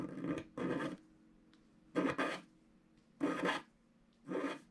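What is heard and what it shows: A wooden stylus scratches across a black, wax-coated scratch art card lying flat, working near the presents. Short, raspy scraping strokes come in bursts separated by quiet pauses, each with a broad, bright texture and a faint low hum underneath.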